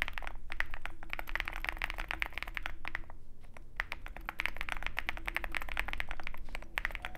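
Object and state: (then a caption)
Mechanical keyboard with PBT keycaps. A compact 65% mechanical keyboard with a dark case and white PBT keycaps is typed on continuously with the fingertips of both hands. The result is a steady stream of short, sharp clacks with a bright click near 2 kHz over a low rumble, pausing briefly around the three-second mark.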